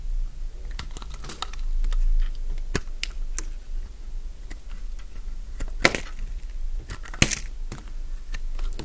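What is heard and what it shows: A metal blade cuts thick, crisp curls from a solid, light-green Fa soap bar held in the hand. Sharp, dry crunches and clicks ring bright and stop quickly, with softer scraping between the cuts over a low background rumble.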